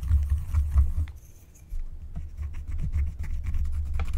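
A flat, thin, black wax-coated paper scratch-art card lying on a table is scratched with a wooden stylus held by a hand with long painted nails. Quick, dry scratching strokes come in bursts, with a short quiet pause near the middle before the scratching resumes, over a constant low rumble.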